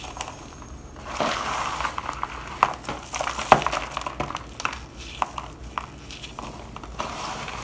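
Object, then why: Bar soap shavings in a plastic bowl. Gloved fingers rub and crumble a pile of dry white shavings from a shaved bar of soap against the bottom of a black plastic bowl. The result is a soft, steady, crunchy crackle centered in the midrange. Sharper snaps and crisp clicks stand out now and then, near the 2.6-second and 3.5-second marks.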